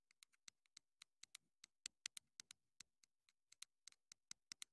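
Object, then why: Small plastic microphone transmitter. Long nails rapidly tap and scratch the hollow casing of a small black plastic clip-on wireless mini microphone transmitter. About two dozen quick, bright, dry clicks come in an irregular patter, each dying away almost instantly, with little low end and a faint hiss between them.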